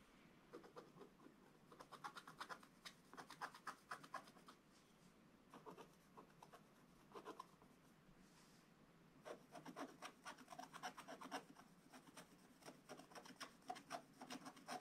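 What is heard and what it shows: A wooden stylus scratches a dog figure into a flat, black, wax-coated scratch-art paper page. Quick dry scratching strokes come in bursts of rasping, papery friction centered in the mid-range with a bright edge. Brief quiet pauses separate the bursts, and the strokes grow denser and louder toward the end.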